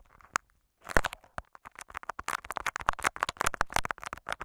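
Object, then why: Clear plastic tape wrapped over a microphone. Short fingernails of both hands scratch and crinkle clear Scotch tape wrapped over a microphone capsule. One isolated sharp tick is followed by a brief silence, then a dense run of close, crackling, crunchy scratches and snaps with a low thumping body and bright crinkly edges.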